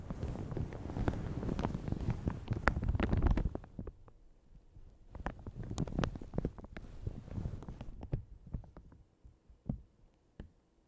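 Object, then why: Thin plastic shower cap stretched over a microphone. Long red nails scratch and crinkle a light blue plastic shower cap stretched over a large hollow Yeti microphone. A dense, boomy, low-heavy crinkling fills the first few seconds, then thins into softer rustles broken by sharp, sparse crackles and taps.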